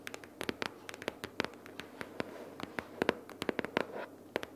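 Long purple fingernails on both hands tap and scratch a pink paperboard notebook case or binder lying flat with paper inside. Quick, irregular dry clicks with bright edges ring off almost instantly, while soft, papery scratching fills the gaps. The result is a quiet, hollow, mid-pitched patter.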